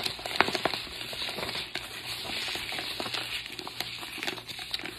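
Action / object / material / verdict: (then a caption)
shake / paper-wrapped cardboard tube rain stick with loose fill / cardboard / none. A long hollow cardboard tube rain stick, wrapped in white paper and closed at the ends with fill inside, is held in both red-nailed hands and tilted and rotated. The fill patters down inside in a steady, bright, rain-like hiss sprinkled with sharp little clicks.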